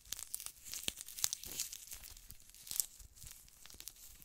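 A thin, flexible lilac glittery gel-filled eye mask with a plastic shell is held in both hands while medium-length painted nails and fingertips press, rub and scratch its surface. The result is a quiet, bright, irregular crinkling and crackling with sharp tearing-like ticks and little low end.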